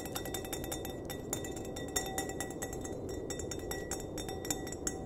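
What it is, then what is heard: Wine glass tapped with fingertips and nails. An empty, clear glass wine glass, hollow and held upside down by its base, is tapped on the bowl with fingertips and nails. The taps make a quick, steady run of light, bright clinks with very short rings over a constant low, rushing background noise.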